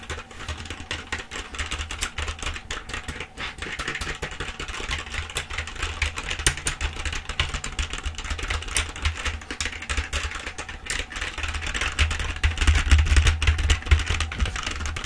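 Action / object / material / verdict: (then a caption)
tap / plastic computer keyboard / plastic / none. A full-size black plastic computer keyboard is held upright while both hands type and tap on the keys with long acrylic nails and fingertips. A steady stream of rapid, bright plastic clicks and taps plays over a low, constant hum. The clicking grows slightly louder toward the end.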